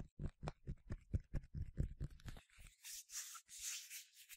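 A yellow plastic sunscreen spray bottle with a translucent cap, partly filled with liquid, is handled with the fingers and nails. About ten quick, dull, low thuds come first, then give way to airy, hissing scratching and rubbing across its surface.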